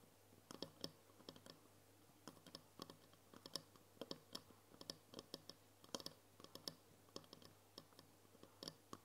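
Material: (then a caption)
Glass. Long nails tap and click on the glass surface of a tall glass jar with a green lid, full of foil wrappers. A quiet, uneven run of sharp, bright clicks with very short decay plays over a faint steady low hum.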